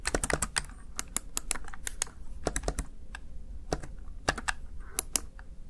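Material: Plastic.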